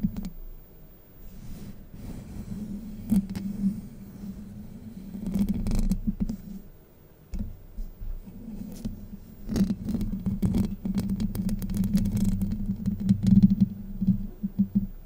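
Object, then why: Steel wire-mesh microphone grille. Long light-blue acrylic nails and fingertips scratch and rub across the hollow, domed, fist-sized steel wire-mesh grille on the head of a Blue Yeti USB microphone with a dark metal body, the hand wrapping around the grille and then moving to its side. The result is a close, dense, low scratchy rumble with a steady hum-like tone near 190 Hz, broken by quick, brighter crackling scrapes that swell and fade throughout.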